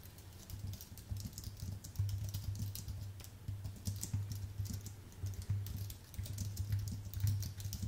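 Fingertips type continuously on a white Apple full-size keyboard with an aluminium base and plastic keys, producing a dense run of soft, quick, bright key clicks. A steady low hum around 100 Hz sits beneath the tapping throughout.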